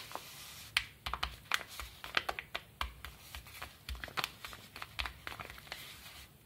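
Fingertips and short nails scratch and tap the surface of a small brown kraft paper bubble mailer, which lies flat and bears a stamp and stickers. Quick, dry, crinkly clicks and scrapes come in an uneven stream, each bright, short and with almost no ring, over a faint low hum.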